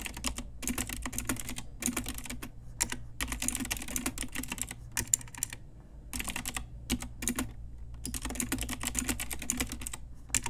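Fast typing with the fingertips and long nails of both hands on an Ajazz pink typewriter-style retro mechanical keyboard with round plastic keycaps. Rapid bursts of bright, sharp plastic clacks come in quick runs broken by short pauses, over a steady low hum.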